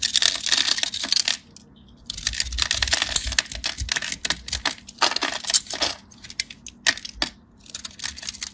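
A metal craft knife scores a grid into a solid, off-white, palm-sized rectangular bar of soap held by fingers with short blue nails, then chips pieces off. The result is dense, bright, crisp scratching and rapid clicky cutting bursts, with a brief quiet pause near the two-second mark and sharp, quickly ending ticks toward the end.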